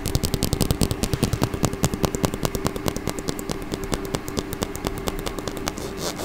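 Long fingernails scratch and strum the teeth of a small, solid, hot-pink plastic comb held close to the microphone. The result is a rapid, uneven run of crisp, bright clicks and ticks over a low, close-up rumble, each strum dying away almost instantly.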